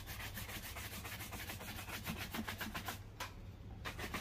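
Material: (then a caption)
Leather. A black leather loafer, worn on a foot resting on a blue plastic stool, is brushed back and forth with a wooden-backed horsehair shoe brush. The bristles make steady, rhythmic swishing strokes across the leather upper, each a broad bright rub over a low background hum. A brief lull near the end is followed by a few more strokes.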